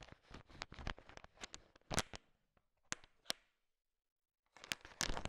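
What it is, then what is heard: Candy-coated peanut chocolates being stirred. A heap of small, hard sugar-shelled peanut M&Ms filling a bowl is stirred and tapped with a thin wooden stick. Dense, bright clicking and rattling bursts are heard as the candies knock together. This is followed by a near-silent pause before another burst of clattering.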